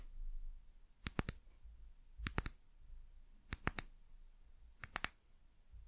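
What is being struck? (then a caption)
Small glass bottle, bottom tapped with fingernails. Long nails tap the hollow bottom of a small amber (brown) glass bottle in four quick bursts of three, twelve taps in all. Each tap is a sharp, bright click that dies away almost at once, over a low, quiet background hum.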